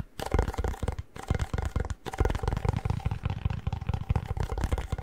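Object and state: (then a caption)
Chip can tapped on the lid. Fingertips tap rapidly on the plastic lid of a hollow cardboard Pringles chip can held at an angle. The result is a quick, uneven flurry of dull, deep thumps with a hollow body resonance, each dying away almost instantly, with a couple of brief pauses in the tapping.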